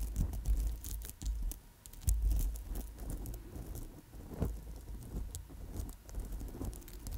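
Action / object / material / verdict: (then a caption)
scrape / amethyst bead and chip bracelet on wire / amethyst / none. Long nails scratch and tap over an amethyst chip and bead bracelet strung on a gold wire core. The result is a steady patter of small, bright clicks and scratchy rustling over a deep, low rumble, with the loudest bursts at the start and around the middle.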